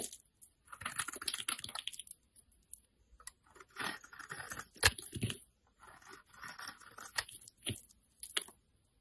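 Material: Soap.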